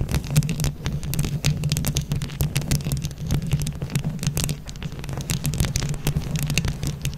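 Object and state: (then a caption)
Rhinestone-covered microphone scratched and tapped with nails. Long nails scratch and tap quickly on a microphone grille covered in plastic flower rhinestones. The result is a dense stream of sharp, bright clicks over a steady low, throbbing rumble near 145 Hz.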